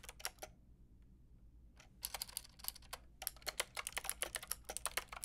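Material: Plastic.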